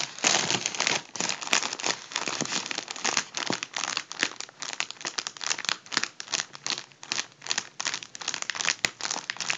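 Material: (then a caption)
Mylar foil. Fingertips pinch and crinkle the foil at the crimped seam of a hollow, partly deflated gold mylar foil balloon. A steady run of dense, bright crinkling and crackling is heard with sharp snaps scattered throughout and almost no low end.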